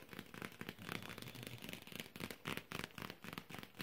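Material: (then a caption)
Tinplate. Long fingernails tap quickly and unevenly on the flat lid of a small, hollow, rectangular printed metal tin with a red lid rim and a Santa design, held in the hand. The result is a dense run of short, bright, clicky ticks with a slight hollow tinny resonance and almost no ring.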